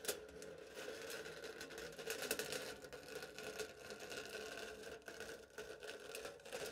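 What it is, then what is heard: Aluminium foil over a cup, cut with a knife. A knife blade cuts a slit across smooth aluminium foil stretched flat over a hollow cup. The cut gives a quiet, steady run of bright, crisp crackles and ticks, with a faint mid tone around 440 Hz and almost no low end.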